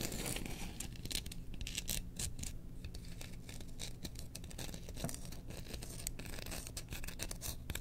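Long nails scratch the handle and bowl of a held Chewbacca bamboo spoon. Dense, continuous rasping with bright, scratchy bursts runs over a steady low hum throughout.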